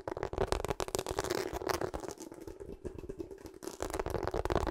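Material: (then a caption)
Rubber. A pink/purple rubber hot water bottle with a ribbed surface, held sideways, is scratched and tapped on its ridges with long acrylic nails. Quick, dry tapping and scratching clicks come in dense bursts with a steady mid-pitched tone under them. The rattling is fast and continuous, softening slightly in the middle before picking up again.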